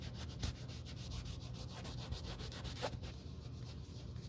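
A white cloth over a gloved finger wipes and rubs the toe and heel of a hollow black leather UGG men's boot. It makes a steady, quiet, rhythmic rubbing hiss with a low rumble underneath and bright streaks on each stroke. A few brief, louder scuffs stand out along the way.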